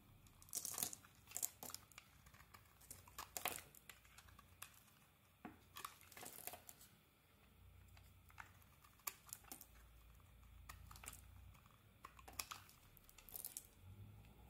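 A metal blade carves chunks off a solid red bar of soap with glitter on the outside and a white inside, held in the palm. Quiet, irregular bright scraping and crumbly crunching bursts follow one another throughout, with a soft low rumble between them.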